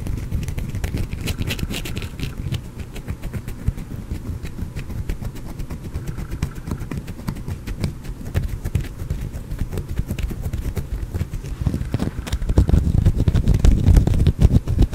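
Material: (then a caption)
Soap. A small, solid green soap bar is held close to the microphone and scratched with fingernails, with crumbs falling onto a cloth. The result is a dense, steady run of dull, low-heavy scratching and crackling that grows louder and fuller over the last few seconds.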